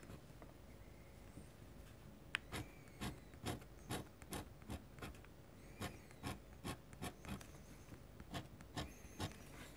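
A metal dip-pen nib scratches quick hatching strokes across a large, flat white paper sheet. Short, dry, bright scratches repeat at an uneven pace over a soft, continuous rubbing of the nib on the paper, with a few louder strokes standing out. The overall sound stays quiet and close.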